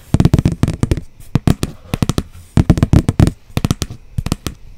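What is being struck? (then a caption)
Cardboard sheet tapped with fingernails. Long blue almond-shaped nails tap a flat brown cardboard sheet held upright close to the microphone. About two dozen quick, dry, low thuds come in rapid bursts separated by short pauses, each one stopping dead with no ring.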